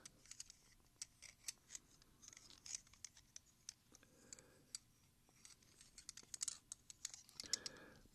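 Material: Silver.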